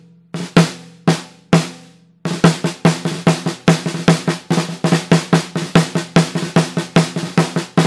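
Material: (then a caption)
Brass. A Pearl Reference 14x6.5 in snare drum with a hollow 3 mm brass shell and a coated plastic head is struck with wooden drumsticks. Four spaced, ringing strikes come first, then a quicker run of tapping strokes, about 23 hits in all. Each sharp, bright crack carries a short tonal ring near 170 Hz.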